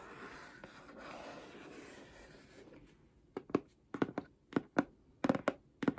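Long painted nails rub and scratch the surface of a flat holographic cardboard Seventeen album box held in one hand. About three seconds of steady, soft scraping give way to a series of short, sharp scratch strokes. Each stroke has a dull low-mid body and brief bright edges.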